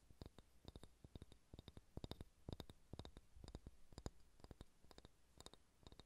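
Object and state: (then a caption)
Solid wooden ball tapped and scratched with nails. Fingernails tap and scratch a solid ball of pale pine wood, making a rapid series of short, dry clicks with bright high tops and almost no ring. Light scratching fills the gaps over a low, steady rumble.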